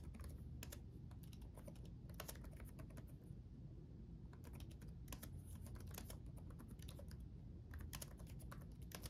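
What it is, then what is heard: Plastic laptop keyboard. Both hands type rapidly with their fingertips on the backlit chiclet keyboard of a black laptop, tapping plastic keycaps on a solid chassis. The result is a quick, irregular stream of short, bright clicks over a steady low hum that dominates the sound.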